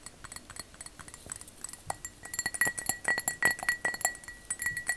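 A glass object is tapped with long fake fingernails in a rapid, uneven series of light clicks and clinks. Each tap gives a short, bright glassy ring near 1.9 kHz that dies away quickly, and the taps grow louder and denser toward the middle of the clip.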